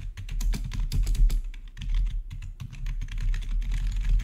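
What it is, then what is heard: Plastic gaming keyboard being typed on. Fingertips rapidly tap the keys of a black plastic RGB backlit gaming keyboard with a hollow housing. The result is a quick, dense stream of short, dry clacks with a deep, thumpy low end, each dying out almost instantly.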